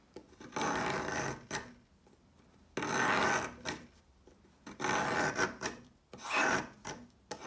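A thinning, solid pale yellow chalk stick is scraped with a peeler blade on a marble surface, with chalk crumbs around it. Repeated dry, rasping scraping strokes come in bursts separated by short quiet pauses, with a broad, gritty texture that reaches into bright highs.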